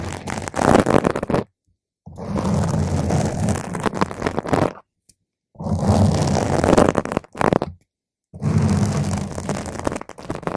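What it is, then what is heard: Foam microphone windscreen being scratched. Long fingernails on one hand scratch a round purple foam microphone cover, then slower scratching is done with single nails on top. The result is dense, crackling scraping with a heavy low rumble, coming in several loud bursts separated by brief silences.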